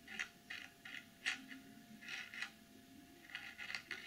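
Long nails tap about ten times on the back of a clear plastic BH Cosmetics glitter packaging box, across its printed text. Each tap is a quiet, short, bright plastic click with almost no low end, spaced irregularly over four seconds.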